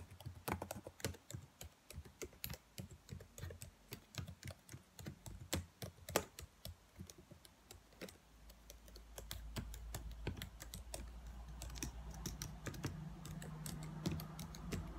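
Fingertips and long white nails tap on the black plastic keys of a laptop keyboard, making quick, irregular, sharp clicks with bright, clicky tops and little ring. After about eight seconds a steady low hum rises underneath the tapping and continues to the end.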